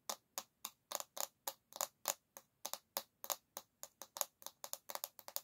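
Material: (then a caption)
Bamboo. Long nails tap and lightly scrape the solid bamboo back of a paddle hairbrush held by its handle. About two dozen short, crisp clicks come in an uneven rhythm, each bright and dry with almost no ring, and a faint scratchy rasp sits under some of them.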